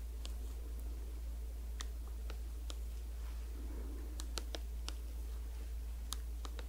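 Long acrylic nails tap and scratch a small, hollow, squeezable blue and white Perskindol cooling gel tube held close to the mic. Sharp, bright clicks come irregularly over a steady low hum, with soft scratching in between.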